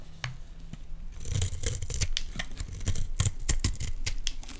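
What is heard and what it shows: A solid green Dalan olive oil bar soap is held in the hands while a utility knife blade scrapes thin curled flakes off it. A quick, uneven run of short, crisp scraping strokes is heard, each a bright shaving rasp over a soft low thud, with fine crackling between strokes.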